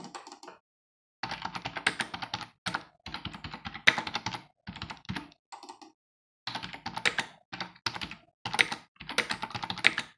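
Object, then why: Plastic computer keyboard. Fingertips of both hands type on a black plastic computer keyboard with a hollow housing resting on a wooden desk. Bursts of quick, bright, clicky keystrokes with very short decay are separated by brief pauses.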